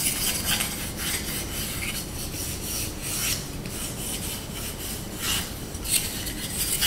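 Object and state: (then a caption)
Wooden spoon being scratched. Short nails scratch quickly over the handle and bowl of a small, solid, light wooden spoon held in the hands. The result is a steady, dry rasping with bright, high hiss that swells and fades in brief bursts over a faint low rumble.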